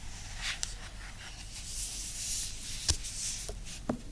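Long acrylic nails scratch across the glossy printed card cover and edges of a medium-sized paperback novel ("Un pizzico di Joy"), which is solid and lying flat. Soft, bright swishing scrapes are broken by three sharp, clicky taps with almost no ring.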